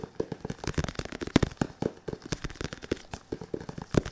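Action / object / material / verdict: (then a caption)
tap / padded synthetic leather focus mitt / synthetic leather / none. A padded synthetic leather boxing focus mitt is tapped quickly with fingertips while it is moved around. The result is a rapid, uneven patter of soft, dull thuds, low and muffled with almost no ring, some taps landing harder than others.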